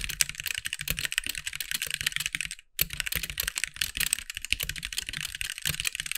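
Fingertips of both hands type on a compact backlit mechanical keyboard with white plastic keycaps. Rapid, bright, dry plastic clicks and clacks run steadily with a soft low thump under each keystroke. A brief pause in the middle breaks the typing before it resumes at the same pace.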